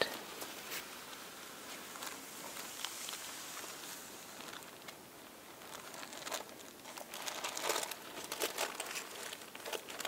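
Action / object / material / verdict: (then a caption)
scrape / thin tissue paper sheets / tissue paper / none. Fingertips and nails fold, lift and rub a stack of thin purple tissue paper sheets resting on a table. The result is a soft, continuous crinkling and rustling that is bright and papery, with almost no low end. Sharper crackles grow louder and denser toward the end.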